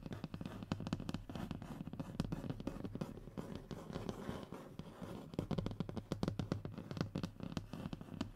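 Short fingernails of both hands quickly scratch the textured surface of a thin, solid, flat brown hardboard (fiberboard) panel lying on a table. The result is a dense, continuous run of dry, rapid scratching with many sharp little clicks, weighted toward the low end and dying away instantly with no ring.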